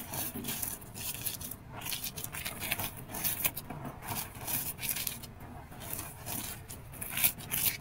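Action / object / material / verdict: scrape / pile of powder mixed with gym chalk and sand / powder and sand / none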